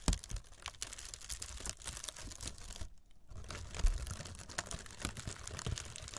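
Long red nails scratch and tap across the textured surface of a roll of brown, hollow and airy honeycomb kraft packing paper wrap. The result is a dense, continuous crinkling and scratching with soft tapping, which stops briefly around the three-second mark before resuming.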